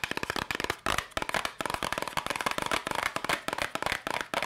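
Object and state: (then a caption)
Cardboard candy box. A small yellow cardboard candy box, held up in both hands, is tapped rapidly with long pink nails. The result is a fast, continuous stream of dry, crisp clicks and taps, bright and centred around 2 kHz, with almost no low end. Each tap dies away almost instantly.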